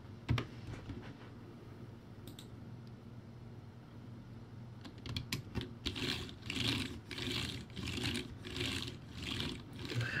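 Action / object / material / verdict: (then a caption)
tap / plastic keyboard with round keycaps / plastic / none. Fingertips type on a backlit plastic typewriter-style keyboard with round white plastic keycaps, producing sparse clicks at first. From about six seconds in, the taps turn into denser bursts of bright, clattering keystrokes over a low hum.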